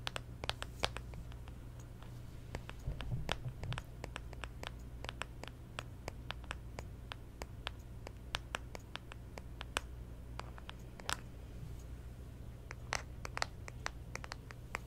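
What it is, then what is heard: Smartphone in plastic case, tapped and scratched. A smartphone in a clear plastic case with a pop socket is held in hand while long nails tap and scratch the plastic pop socket and the case around the camera. Many quick, dry clicks and short scratches come in an irregular, steady stream. A low, constant hum sits underneath.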